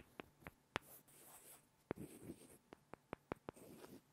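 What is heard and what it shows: Two small solid light-wood blocks are rubbed and scraped together by hand. Sharp, dry wooden clicks ring out nine times, with soft rasping scrapes between them. The clicks die away almost instantly in a quiet setting.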